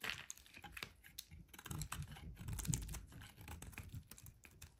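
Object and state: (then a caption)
Laundry bar soap being shaved. A solid brown rectangular laundry soap bar, held in hand, is carved and shaved with a metal utility knife blade, sending curls of soap falling off. A rapid run of crisp, crackly scrapes and cuts is heard, with soft low thumps underneath and bright high ticks on top. Each stroke stops short with almost no ring.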